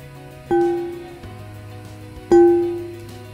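An aluminium plate resting on cushioning material is struck twice with an impulse hammer to capture a triggered waveform for measuring its natural frequency. Each strike gives a sharp attack and a clear metallic ring, centered near 344 Hz with a higher overtone, that decays over roughly half a second. Soft background music plays throughout.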